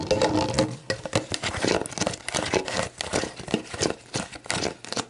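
Long black nails scratch and tap the printed plastic label of a clear, hollow, mostly empty plastic sports drink bottle lying on its side on a wooden table. The result is a rapid, uneven stream of crinkly scratches and short, dry plastic taps with bright, papery edges.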